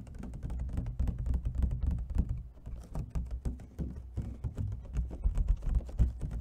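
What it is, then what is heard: Plastic clamshell food container. An empty, hollow clear plastic clamshell food container, held in one hand, is tapped quickly with fingernails along its edge and corner. The result is a rapid, uneven stream of short, dry clicks over a hollow, low thunking body that dies away almost at once.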